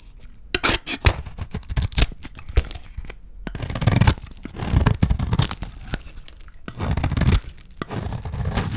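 A solid green bar of dry soap, partly in dark wrapping, is shaved into strips with a small metal blade held in the fingers. Dry, crackly scraping and tearing sounds come in quick bursts and longer runs, with soft low thumps under bright, crisp cutting noise. Each stroke ends abruptly with almost no ring.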